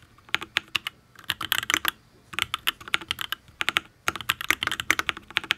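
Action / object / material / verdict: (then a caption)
tap / mechanical keyboard, aluminium case, ABS keycaps / aluminium, ABS / none. Fingertips type on a full-size Matrix ablex penpen custom mechanical keyboard with an aluminium case, ABS keycaps and Tealios V2 linear switches. About 33 crisp, bright clacks come in quick bursts separated by short pauses. Each keystroke is sharp and dies away almost instantly, with very little low-end thump.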